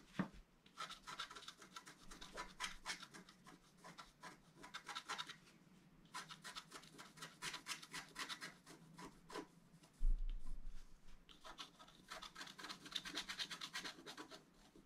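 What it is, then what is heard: Scratch-art paper being scratched. A wooden stylus scratches along the upper right border of a flat, black-coated scratch-art card, making a steady run of short, dry, rasping strokes with bright, scratchy texture. The strokes come in quick clusters with brief pauses between them, and one louder, heavier scrape stands out around the ten-second mark.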